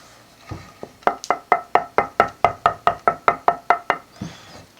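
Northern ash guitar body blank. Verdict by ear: Poor tone.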